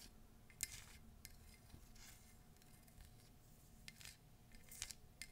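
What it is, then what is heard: Ceramic mug tapped and scratched with nails. A hollow, empty cream embossed ceramic mug with feet and an animal-shaped handle is scratched and tapped with long nails on its side and base. Quiet scratching runs throughout, broken by a few sharp, bright clicks with very short ring.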